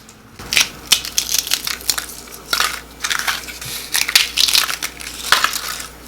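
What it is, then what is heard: Crispy fried buñuelo. A fried flour-dough buñuelo pastry is crushed close up, giving a run of loud, bright, dry crunches and crackles with short snaps that die away quickly. The sharp, crisp breaking shows the buñuelo is nice and crispy.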